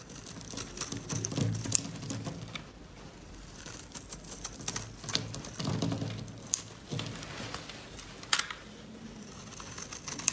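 A solid yellow laundry soap bar held in white-gloved hands is scraped repeatedly with a metal blade, shaving off dry flakes. Quick, dry scraping strokes come in uneven bursts, each with a soft low rasp and a bright, crisp crackle that stops sharply. The result is dry, flaky shavings.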